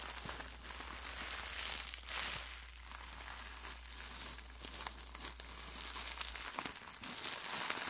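A ball of clear plastic bubble wrap is crumpled and squeezed with the fingertips, giving a steady, bright crinkling and crackling with occasional sharp snaps. A low, steady hum sits underneath for most of the clip and drops out near the end.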